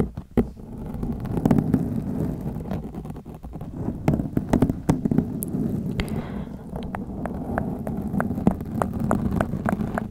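Long acrylic nails from both hands scratch a black foam windscreen on a white microphone, producing a dense, continuous low rumbling scrape. Many short, sharp clicks and ticks cut through the scratching, with the body of the sound sitting heavily in the low range around 150 Hz.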